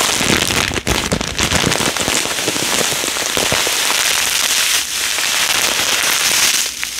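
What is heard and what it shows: A clear plastic bag full of yellow polystyrene foam beads, with a cardboard header, is held and shaken by hand. The beads give a dense, bright patter and rattle inside the bag, like rain, continuing steadily through the clip with a brief dip near the start and another around the five-second mark.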